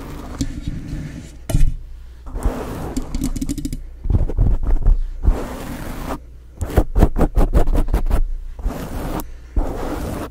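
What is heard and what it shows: Long nails scratch and tap on a black foam windscreen covering a microphone. Stretches of soft, muffled scraping alternate with quick bursts of dull, bass-heavy thumps, with a rapid run of taps near the end.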